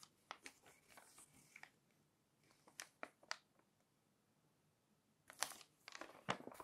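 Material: Glossy paper.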